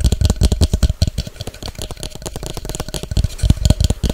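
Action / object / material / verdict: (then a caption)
tap / clear plastic shaker bottle / plastic / none. Long acrylic nails tap fast on an empty clear plastic measuring shaker bottle with measuring marks and a white cap. The result is a rapid, uneven stream of short, hollow, thuddy knocks with clicky tops that stop dead with almost no ring.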